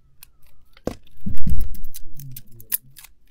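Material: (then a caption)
Soap. A metal blade scrapes and shaves chunks off the edges of a hand-sized solid green soap bar, still partly coated in magenta glitter and held in the palm. The clip opens with a sharp click, then a swelling, dense crunching scrape with a low, thick body and bright crackling flecks, before trailing off into scattered small crisp ticks.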